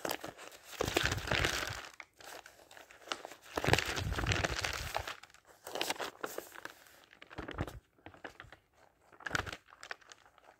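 Fingertips flip single thin printed pages of an open thick paper dictionary and fan them over, so the paper rustles. Irregular bursts of bright crinkling and swishing rise and fade, with soft low flutters as each page falls.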